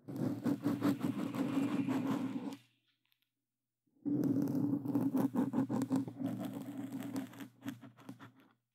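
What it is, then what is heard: Foam microphone cover being scratched. A black foam microphone windscreen is scratched rapidly by claw-gloved hands, producing dense, rustling scratches with a low, full body. The scratching comes in two bursts separated by about a second and a half of silence, and the second burst thins out and fades toward the end.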